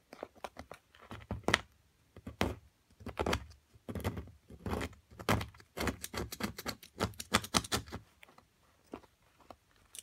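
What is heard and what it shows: A metal carving pick chips and scrapes at a small chunk of solid plaster from a plaster excavation block, sitting among plaster chips and held by a hand with long nails. A quick, uneven series of short, dry scratches and taps is heard, each with a bright gritty crackle over a soft low thump and no ring. Pauses separate the bursts of scraping.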